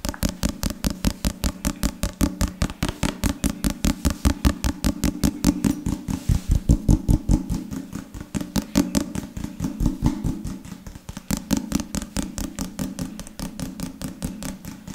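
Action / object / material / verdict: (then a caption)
tap / leather-covered book / leather / none. Fingertips and nails rapidly tap and scratch the cover and spine of a solid book covered in dark leather or leatherette, held at various angles. About 73 quick, dull taps come in a fast, uneven stream. Each is a short, low thud that dies away almost at once, with very little bright edge.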